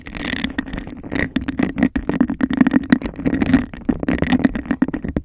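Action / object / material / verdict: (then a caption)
scrape / textured glass cup / glass / none. Long nails quickly tap and scratch the sides and rim of a hollow, empty, hand-sized textured glass cup held close over a microphone. The result is a fast, dense stream of short, dry clicks and gritty scrapes. A hollow tone sits around 250 Hz, with a fainter ring near 2 kHz.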